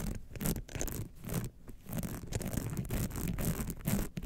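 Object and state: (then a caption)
Rhinestone-studded clutch wallet. Long nails scratch across the rhinestone face and sides of a small gold rhinestone-covered clutch wallet standing upright. The result is a steady, gritty scraping and rubbing with brief bright, crackly bursts over a soft low rumble, swelling and dipping as the nails move.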